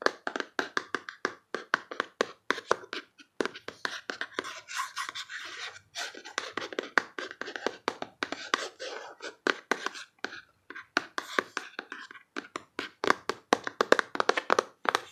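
Long fingernails and fingertips tap quickly across the faces of a closed, hand-sized, rectangular printed cardboard box holding a Box of Emotions card deck. The taps are dense, sharp, clicky and dry, with almost no low end and very short decay. Softer, scratchy stretches of fingertip contact fill the gaps between bursts.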